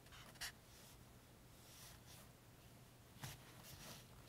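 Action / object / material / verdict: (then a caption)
scrape / felt-tip highlighter on a paperback page / paper / none. A pink felt-tip highlighter is rubbed slowly along the table rows of a glossy printed page in an open paperback game guide lying flat on a table, while the other hand holds the page down. Quiet, soft, scratchy marker-on-paper strokes are heard, with two brief, sharper, bright ticks standing out near the start and later in the clip.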